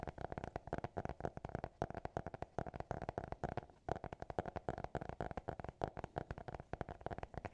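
A small, closed black notebook with a hard cover and an elastic band is held in both hands and tapped and scratched with fingertips and nails. Rapid, dry, hollow taps with a mid-pitched knock sound in quick irregular bursts, each dying away almost instantly, with a brief pause near the middle.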